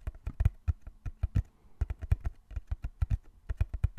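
Fingertips tap rapidly on the sides of a small, closed, hollow brown cardboard box held in both hands. About 25 quick, dull, low thumps follow each other in an uneven patter, each cut off short with no ring.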